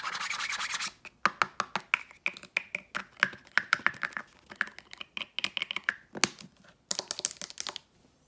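Long nails rub and tap a hollow blue Maui plastic hair oil spray bottle with a gold cap, moving over both the body and the cap. A second of bright, scratchy rubbing gives way to dozens of quick, sharp clicking taps with a faint hollow ring around 1.5 kHz, and a burst of bright rubbing returns near the end.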